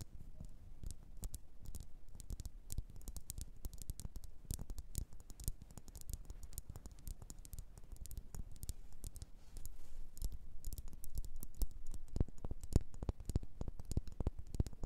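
Long nails tap rapidly and irregularly on a small glossy blue bowl, probably ceramic, turned upside down so it sits hollow. The taps are short, dry clicks with a faint low thump and almost no ring, forming a continuous patter that grows a little louder in the second half.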